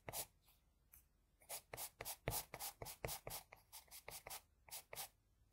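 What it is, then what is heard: Pencil drawing on paper. A wooden HB pencil, held low and angled, scratches lines across the nose area of a drawing on a flat sheet of white drawing paper. About eighteen quick, bright, papery strokes come at an uneven pace, each a short hiss with a soft low scrape beneath it.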